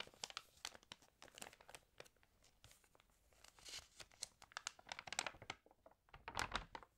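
An open glossy-paper magazine is handled as fingertips rub across the paper and turn its pages. Quiet, bright crinkling and sharp papery snaps come in dense bursts, with louder rustling swells near the middle and end.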